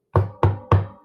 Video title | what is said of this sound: E876 - Gamer's Health with Tenkar & Rach - Covid Anxiety & Mental Health - Some Suggestions & a F@c | Didn't sound like wood though. Jeez. No, sounds like metal.